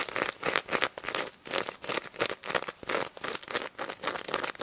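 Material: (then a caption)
Plastic sequins. Long red nails scratch and flip the plastic sequins on the face and mesh snout of a pink sequin plush pig toy. The result is a run of quick, bright, crackly scratching bursts with almost no low end.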